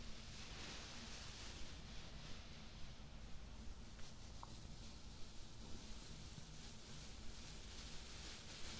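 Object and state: Nothing is struck.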